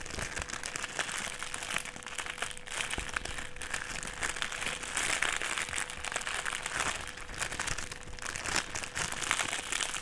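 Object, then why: Clear plastic sheet. A clear plastic sheet rolled into a strip is pressed, crumpled and rubbed by fingers on a table. It makes a dense, continuous bright crinkling and crackling that lasts the whole clip at a steady level. A faint steady tone runs underneath.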